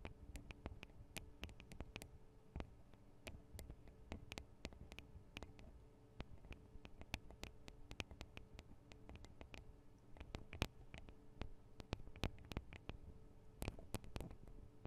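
Long acrylic nails tap on the small hollow metal microphone capsules with metal guard wings of a Tascam DR-40 recorder. The sound is a quiet, irregular run of many sharp, dry clicks that stop instantly, with bright tips over a steady low hum.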